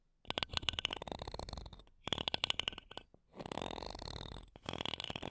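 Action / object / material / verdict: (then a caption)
scrape / metal mesh microphone grille scratched with a thin wooden stick / metal mesh / none. A thin wooden toothpick, held in long-nailed fingers, scratches and taps the mesh grilles of two small silver metal microphones. Quick bursts of crisp, bright clicks alternate with stretches of steady, raspy scratching, separated by brief pauses.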